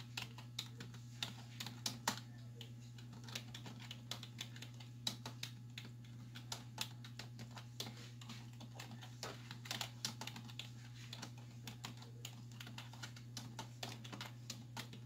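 Both hands with long white nails type quickly on a black plastic desktop keyboard with hollow keys, striking with fingertips and nail tips. A rapid, uneven stream of sharp, bright, hollow clacks plays over a steady low hum, and each click dies away almost at once.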